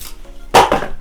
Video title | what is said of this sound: Jak wędzić kiełbasę na zwykłej soli aby była różowa na całym przekroju. | stukamy jedno drugie albo Rzucamy ona po prostu dzwoni nam